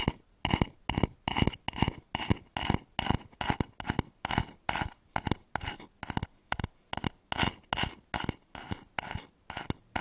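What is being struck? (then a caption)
Wooden bowl. Fingernails scratch and tap the outer surface of a hollow wooden bowl with grain lines, turned upside down over the microphone. Short, dry bursts of scraping and tapping repeat at a quick but uneven pace, each with a low hollow thump under a bright scratchy edge and almost no ring.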